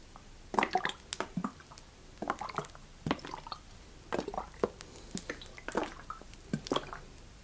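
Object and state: Plastic bottle partly filled with oil.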